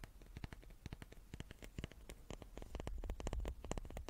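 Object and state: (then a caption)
Wooden cube. A small wooden cube is tapped repeatedly with rapid, irregular light taps. Each tap is a short, dry click with a soft low thud beneath it and almost no ring, and the taps grow slightly louder and denser toward the end.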